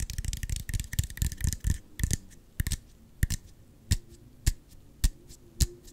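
A small, hollow, clear plastic Gatorade squeeze bottle with an orange cap is held in both hands and tapped with the fingertips and nails. Quick, dense clusters of dull, low, hollow knocks with a bright clicky edge gradually slow into sparse, separate single taps. Each tap dies away almost immediately.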